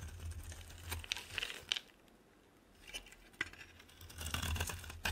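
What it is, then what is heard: Dry bar soap being carved. A metal box-cutter blade carves a solid, dry, oval yellow bar of soap, producing crisp, bright scraping and crackling cuts in short bursts. A brief quiet pause in the middle separates the bursts, and a low steady hum runs underneath.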